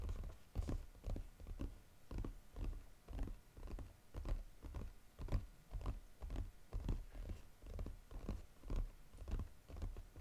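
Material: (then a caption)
Cardboard. Fingertips quickly tap and lightly scratch the lid of a flat, brown, textured cardboard Godiva chocolate box. Soft, dull, low thuds come at an uneven pace of about two per second and die away almost at once, with faint scratchy rustle between them.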